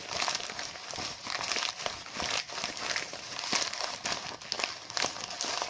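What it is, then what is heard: Mylar foil balloon crinkled. A deflated mylar foil balloon with printed text is scratched and rubbed by fingertips with short nails, crinkling the foil. The result is a steady, bright, crackly crinkle with little low end, broken by frequent sharp snaps that die away almost instantly.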